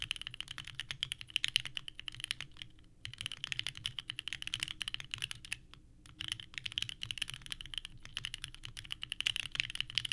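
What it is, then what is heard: Mechanical keyboard with ABS keycaps. Both hands type continuously with the fingertips on a small 65% mechanical keyboard with a purple case and white ABS keycaps, resting on a desk mat. Rapid, bright, clacky key presses run in dense bursts, with brief pauses near 3 and 6 seconds. Each click is short and dry, with almost no ring.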